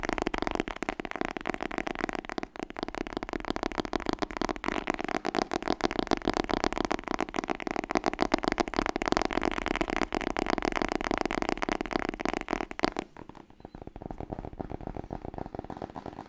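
Fast fingertip-style tapping on the hardcover book "Frontiers in webdesign" makes a dense, rapid flurry of dry, short taps with a warm mid-range body. The tapping runs steadily for about 13 seconds, then drops to a quieter, thinner patter until the end.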